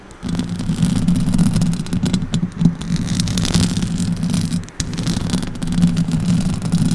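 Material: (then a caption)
Metal mesh. Long orange acrylic nails scratch and rub the metal mesh grille of a silver Blue Yeti microphone. A steady, dense scraping rasp sits low around a humming tone, with bright crackly flecks on top and a brief drop near five seconds before the scratching resumes.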